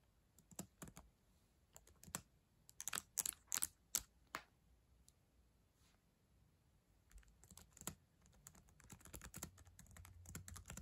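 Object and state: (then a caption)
Plastic laptop keyboard. Slow typing with long acrylic nails and fingertips on the plastic keyboard of a black ThinkPad laptop resting on a yellow blanket. Irregular, bright, sharp clicks and taps come in uneven bursts, louder and more spaced early on, then softer and denser toward the end. Each tap stops almost instantly, with little low rumble.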